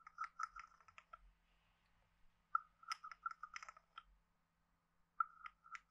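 A hand-sized, hollow, carved wooden frog guiro is scraped along its side ridges and tapped with a wooden stick. Quiet bursts of dry, rapid clicks carry a hollow woody tone around 1.3 kHz with bright edges. They come in three short clusters separated by near-silent pauses.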